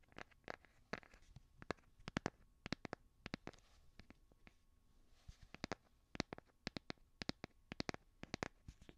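A hand-sized smartphone in a solid light blue plastic or silicone case is held upright and scratched and tapped with fingernails. Quick, dry, bright clicks from the nails come in uneven bursts over a soft scratching hiss, each tap dying away almost instantly. The sound is quiet and close.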